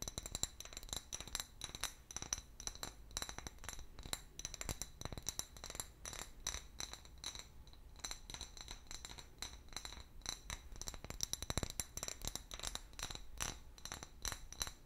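An empty, medium-sized hollow clear glass bottle with a paper label is tapped and scratched with long fingernails. Rapid, dense clicks and light taps mix with scratchy rubbing, while bright, high glassy tones ring steadily over a faint low rumble throughout.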